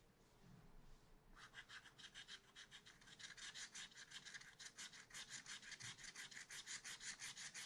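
A thin wooden scratch stylus scratches lines into a black wax-coated scratch art card, a sheet in a spiral-bound pad lying flat and solid on a table. After a quiet second, a steady run of short, bright, dry scratching strokes begins and repeats at an even pace, growing slightly louder toward the end.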